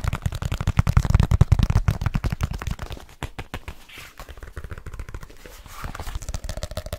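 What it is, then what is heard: Leather case. A black leather case is held up and curved while fingertips tap rapidly on its cover. The taps come as fast, uneven, dull low thumps with no ring, loudest and deepest in the first two seconds. They then turn softer and lighter, rising slightly again near the end.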